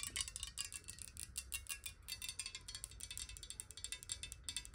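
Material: Glass.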